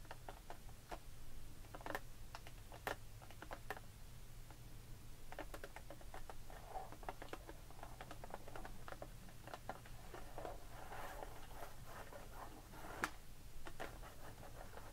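Long pink acrylic nails tap and scratch on a clear plastic blister package full of loose pearl beads lying flat on a wooden table. The result is quiet, quick, dry plastic clicks and light scratching over a steady low hum.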